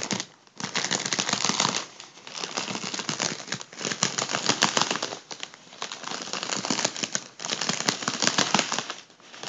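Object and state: Crumpled mylar foil balloon.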